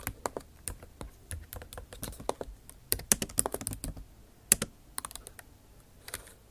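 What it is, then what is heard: Laptop keyboard with plastic keys. Long acrylic nail tips type on the bare plastic keys of a backlit MacBook Pro keyboard set in an aluminum body. The result is a quick, irregular run of light, bright clicking taps with very short decay and no voice, with a brief pause before the taps resume near the end.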